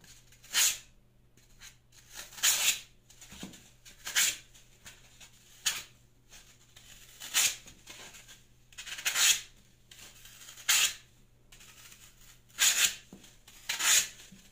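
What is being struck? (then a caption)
Floral foam block scraped with a metal peeler blade. A solid green floral foam block, held by fingertips, is peeled and scraped with the metal blade of a plastic Y-peeler, with the shaved strips piling up below. Nine main bright, dry scraping rasps come at roughly even intervals, each quick and hissy with no low end. Faint rustling fills the gaps between them.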